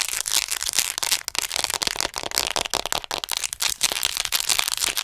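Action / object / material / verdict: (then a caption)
scrape / plastic anatomy model doll / plastic / none. Long acrylic nails rapidly tap and scratch a hollow white plastic acupuncture anatomy figure, about 50 cm tall, held upright in front of the mic. The result is a dense, bright stream of crisp clicks and crackly scratching with almost no low end. Each tick dies away at once, leaving no ring.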